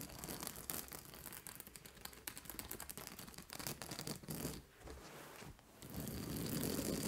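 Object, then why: Fabric acupressure mat with plastic spikes. Long nails scratch a large purple fabric acupressure mat studded with white plastic spikes, and hands rub across its fabric. The result is a dense, bright, crackly scratching and rustling that briefly quiets in the middle before swelling into a fuller, steady rubbing at the end.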